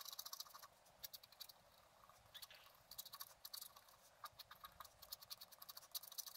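A wooden stylus scratches fine lines near the top of a fountain drawing on a flat black-coated scratch art card held in one hand. Dozens of quick, dry, high scratching strokes sound in bursts over a faint hiss, each stopping almost instantly with no ring.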